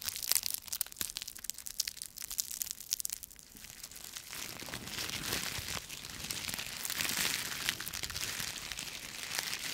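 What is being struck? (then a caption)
Bundle of autumn leaves. A bundle of dry autumn leaves is crushed in both fists, its brittle pieces breaking up with sharp, bright crackles and snaps. For the first few seconds the crackles come in scattered bursts, then they merge into a denser, steady crunching and crinkling with almost no low end.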